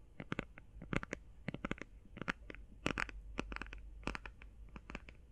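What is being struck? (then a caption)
Cardboard eyeshadow palette. Long painted fingernails tap fast and scratch lightly on a closed, flat, rectangular, hand-sized cardboard eyeshadow palette. The result is quick bursts of short, dry clicks with crisp, bright edges, interspersed with soft scraping. A low, steady hum runs underneath.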